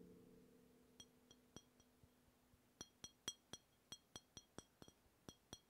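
A hollow brown glass beer bottle, held sideways beside the microphone, is tapped with the fingertips of the other hand, producing a series of short, bright glassy clinks centred around 3.3 kHz. The taps start soft and sparse over a faint low tone that fades out in the first two seconds. They then become louder and more regular, each dying away almost instantly.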